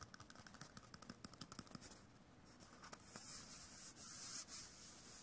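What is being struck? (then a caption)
Cardboard paper tube. A small hollow white cardboard tube, possibly a toilet-paper core, with a face drawn on it is held in one hand and rubbed and scratched with the fingertips of the other. A quick run of light, dry scratchy taps comes first, then a steadier bright rubbing hiss that grows louder toward the end.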